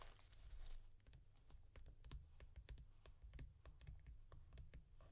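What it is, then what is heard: Cardboard mailer box. A small, hollow brown cardboard mailer box is tapped with long nails, first while lying flat on a cloth-covered table and then while picked up and held upright. A brief bright scratchy rustle opens the clip, then quick, light, dry clicks patter in an irregular stream over a low, dull rumble, each tap dying away almost at once.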